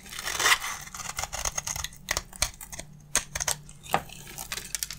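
A solid dry bar of soap held in the hand is scraped with a box-cutter blade, producing crunchy shavings. The sound is a run of dry, bright, crackling scrapes and short crisp snaps, with a louder rasping burst at the start and quick crunches that stop almost instantly.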